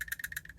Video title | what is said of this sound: Can You Get A Quality OTF Knife For Under $100? | you can get it to definitely rattle this way and even front to back